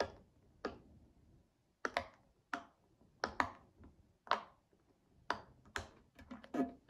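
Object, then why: Silicone pop-it fidget toy. Both index fingertips press a hand-sized, hollow, flexible silicone pop-it fidget toy in pastel mint and rainbow colours, lying flat on a glass table, popping its bubbles one after another. Each pop is a short, dry click with a hollow midrange tone near 1 kHz and a bright attack that dies away almost at once. The pops come in an uneven, unhurried rhythm, some single and some in quick pairs, over near silence.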